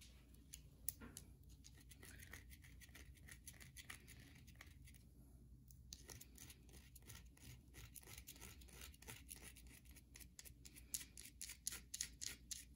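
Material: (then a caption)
Soap. Long nails scratch and tap across the grooves of a solid white soap bar with a scored face, held in the hands. Quick, dry, bright scrapes and clicks come in an irregular stream, each dying away almost at once over a faint low hum.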